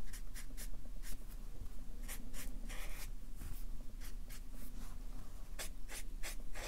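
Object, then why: Felt-tip marker on paper sheets on a clipboard. A Sharpie marker's felt tip rubs across a stack of white paper on a clipboard as it traces and thickens the lines of a fish drawing. Short, bright, scratchy strokes come in quick succession over a low, steady hum.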